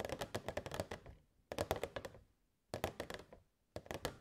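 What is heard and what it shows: Long nails tap rapidly on the sides of a hollow, transparent plastic box with fairy lights inside, in four quick bursts separated by short pauses. Each tap is a short, hollow click with a mid-range tone around 630 Hz that dies away almost at once.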